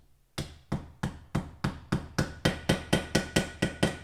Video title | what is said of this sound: Part. 2 : Préparation moteur KR | quand ça fait le petit bruit un peu métallique là c'est que ça à fond